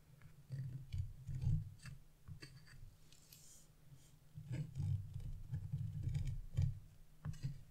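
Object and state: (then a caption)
Scratch-art coated paper being scraped. A black-coated scratch-art paper sheet is held flat by one hand while a wood-handled chisel scrapes its coating, leaving small flakes. Low, rough scraping comes in bursts, with short bright ticks and scratches over a faint steady low hum between strokes.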